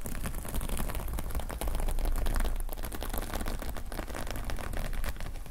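Both hands rapidly scratch the plastic sequins on the fabric cover of a closed notepad lying flat, using fingertips and nails. The result is a dense, continuous stream of quick scratchy clicks and rustles over a strong low rumble, steady throughout with a slightly louder stretch near the middle.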